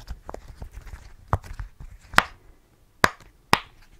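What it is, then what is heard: Silicone pop-it fidget toy. Fingertips press and pop the hollow bubble domes of a rainbow rectangular silicone pop-it fidget toy held in both hands close to the mic. Soft rubbery squishes and taps lead into four sharper, distinct pops, each a short dry snap centered near 1.4 kHz with a quick bright edge and almost no ring.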